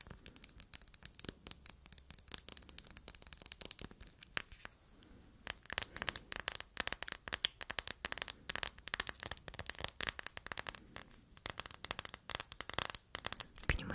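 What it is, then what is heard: Hard plastic phone case with metal corner guards. Long nails rapidly tap and scratch the back and edges of a hard plastic dreamcatcher phone case with raised gems, metal edges and metal corner guards, held up close. The result is a dense stream of crisp, bright clicks and dry scratching, with very short, sharp attacks and little low end.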